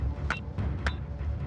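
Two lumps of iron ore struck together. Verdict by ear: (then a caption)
High-grade. Two lumps of freshly exposed high-grade iron ore are banged together three times in the Mount Whaleback iron ore mine. Each strike gives a short, bright metallic clink ringing near 1.5 kHz over a steady low rumble. The ore sounds like metal, which points to its high iron content.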